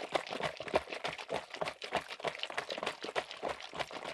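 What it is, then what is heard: Plastic spray bottle. A medium blue plastic trigger spray bottle of car wax with liquid inside is held up in one gloved hand and tapped with gloved fingertips. The result is a quick, uneven run of dry, clicky taps with short crinkly, crunchy edges that stop almost instantly, mostly in the mid and high range with almost no low end.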